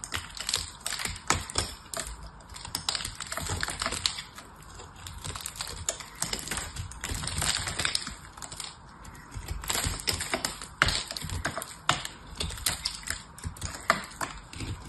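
A small metal knife cuts and scrapes thin curls from the edge of a solid, hand-sized bar of soap painted blue, held in one hand. Dense, crisp scraping and crackling clicks come in quick bursts throughout, bright and dry with almost no ring.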